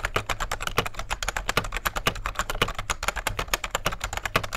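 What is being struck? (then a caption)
Plastic rubber dome keyboard. Fingertips of both hands type steadily on a vintage beige full-size plastic rubber dome keyboard with a hollow case. The result is a fast, continuous run of short, muffled key taps, each with a bright clack and very little ring, over a faint steady low hum.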